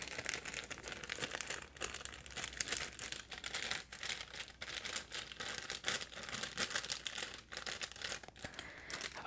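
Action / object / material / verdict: scrape / plastic packaging bag / plastic / none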